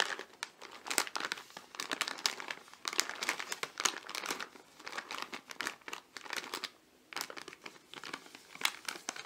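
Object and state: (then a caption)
Potato chip bag crinkling. A medium-sized, filled potato chip bag made of metallized plastic foil is held over a gift box and squeezed and crinkled by fingertips, with some light tapping. The result is dense, bright, crackling crinkles in irregular bursts with brief pauses, and almost no low end.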